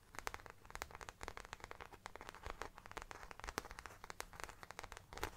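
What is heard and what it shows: Long dark nails and fingertips scratch and tap the back panel of a small, round, brown faux leather bag, moving toward its top edge by the end. Dozens of quiet, dry, crackly clicks and scratchy rustles come in quick bursts, each stopping instantly with no ring, over a faint low rumble.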